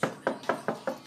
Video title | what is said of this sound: Finding the Stud in Any Room..Not You, Jeff! | this one sounds different yeah I think our studs on this side